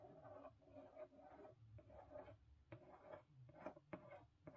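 Long pink nails tap and trace over the lid of a closed, medium-sized blue corrugated cardboard Book of the Month box. Quiet, dry scratching strokes alternate with soft, muffled taps that have a hollow mid-range tone and no ring.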